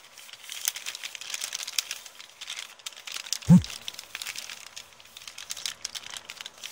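Long painted nails and fingertips scratch and rub an empty kraft paper bookstore bag with blue print, lying flat. The result is a steady, bright crinkling and scratching texture, with one louder, low thump about halfway through.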